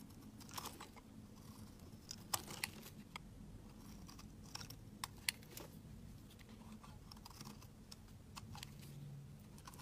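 A utility knife blade scrapes curled shavings off a solid pink rectangular bar of laundry soap held in the hand. Quiet, crisp scraping and crackly, crunchy ticks come at irregular intervals, with a few sharper bright clicks over a low, steady background hum.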